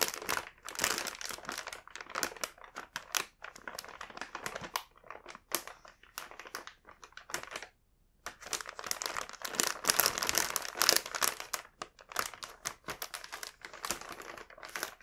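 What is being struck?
Plastic bag of cookies.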